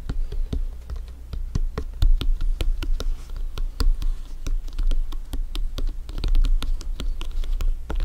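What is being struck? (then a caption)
Synthetic leather soccer ball. Fingertips and nails tap and scratch the synthetic-leather panels of a hollow, inflated blue France soccer ball resting on a black surface. Quick, dry taps come in a steady, irregular stream, each with a short, low, hollow thump and a faint scratchy edge that dies away almost at once.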